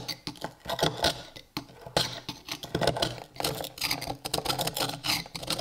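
A small, solid rusty iron hammer head without its handle, held in a gloved hand, is scraped with a steel chisel to flake off its rust crust. The result is a rapid, uneven run of gritty, bright scrapes and sharp metallic ticks that stop almost instantly with little ring.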